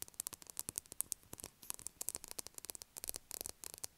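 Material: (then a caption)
Soap. Long acrylic nails tap on the top of a solid blue bar of soap lying on a table. Around 25 quiet, bright, dry clicks come in quick irregular bursts with no ring, over a faint hiss.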